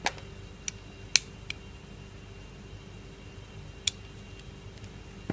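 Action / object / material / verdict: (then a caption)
scrape / glycerin soap block carved with a metal blade / glycerin soap / none. A metal blade carves thin curls from the edges of a solid, translucent, palm-sized orange glycerin soap block held in one hand. Sparse, sharp, bright scraping clicks stand out against a quiet, steady low hum, each one dying away almost instantly.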